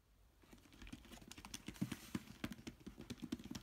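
A fingertip taps and scratches the top of a large, closed, hollow corrugated cardboard shipping box with packing tape patches, lying on bubble wrap. After a near-silent start, about twenty quick, soft, dry taps follow, each a hollow low thump with a bright scratchy tick. The taps stop at once with no ring.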